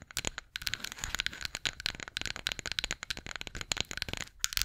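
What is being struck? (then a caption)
Flat wooden spatula. A flat, solid, light-wood spatula is scratched and tapped with long nails close to a microphone. The result is a dense run of quick, dry, bright clicks and scratchy crackles with almost no ring, mostly high in tone with little low end.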